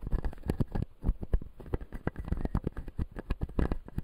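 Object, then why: Acrylic and plastic dental teeth model. A fingertip taps and scratches the white plastic teeth of a solid, closed clear acrylic dental model in a steady run of quick strokes. Each tap is a short, dull, low knock that dies almost at once, mixed with soft, muffled scratching and almost no bright edge.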